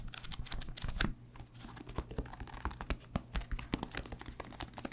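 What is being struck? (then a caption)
Paperback book, paper cover and pages. A thick, solid paperback book with a paper cover and paper pages is held in both hands near the microphone, handled and riffled or flipped with the fingertips. A fast run of soft papery flicks and taps is heard, with bright rustling edges over a low, muffled thump in each contact. The sound stays close and dry, with a brief louder flutter near the start before settling into steady, separate page flicks.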